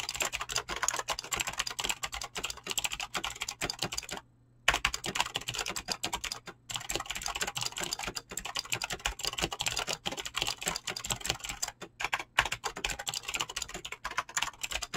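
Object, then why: Mechanical keyboard with plastic PBT keycaps and clicky switches. Fingertips type fast on a mechanical keyboard with clicky green switches and PBT plastic keycaps, producing a dense, steady stream of sharp, bright clicks. The typing stops briefly near the 4-second mark, then continues at the same quick pace.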